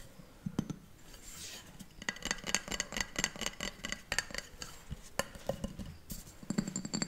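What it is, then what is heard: Glass bowl. A round, pale green glass bowl, hollow and empty, is held in both hands in front of a microphone and tapped rapidly with long painted nails. The taps come as quick, irregular bright clinks with a high glassy ring that dies away almost at once, over a soft low background.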